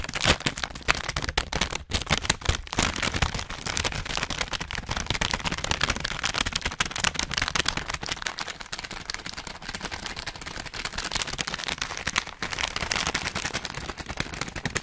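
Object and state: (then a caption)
Plastic snack bag. A full orange plastic/foil snack bag is crinkled and pinched with fingertips in front of the mic. Dense, bright crackling and crinkling runs almost continuously throughout, with quick sharp snaps and very little low end.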